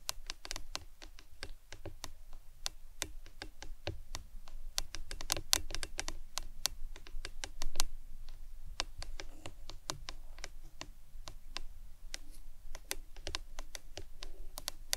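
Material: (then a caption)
Plastic. A hollow printed plastic lemonade tumbler with a green lid, lying on its side on a towel, is tapped with long acrylic nails. Quick, bright, clicky taps come in irregular runs over a soft low hum, each dying away almost instantly.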